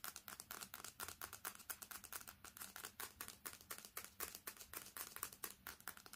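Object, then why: Smartphone with glass screen and metal back. Long fingernails tap fast and scratch across the glass screen and edges of a smartphone with a metal back, held flat with the screen facing up. A rapid, steady string of sharp, dry clicks with bright scratchy texture, centered around 1.1 kHz, each dying away almost instantly with very little low end.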